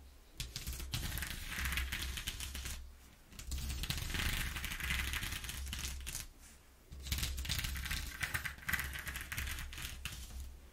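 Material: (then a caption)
Cardboard. Long nails rapidly tap and scratch across the ridges of a ribbed corrugated cardboard sheet. Dense, crackly bursts of scratching with a bright rasp run in three stretches, separated by brief quiet dips around 3 and 6.5 seconds, over a steady low hum.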